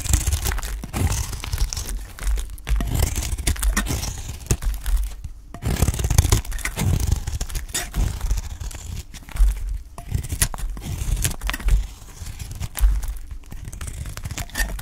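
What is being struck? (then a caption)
Olive soap bar cut with a knife. A utility knife cuts thin flakes from the corner of a solid, dry, pale cream Dalan olive soap bar held in the hand. Short, dry, crunchy scrapes and tearing cuts follow each other in quick runs with brief pauses. The tone is dense and low with a faint bright crackle.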